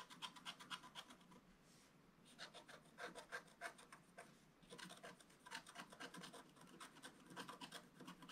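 A wooden stylus scratches through the black coating of a solid, flat, roughly A4 scratch art page, working on the lower fish. Quick, bright, rasping scratch strokes come in rapid bursts of about four per second, with a brief pause near two seconds and a quieter stretch around four seconds before the scratching resumes.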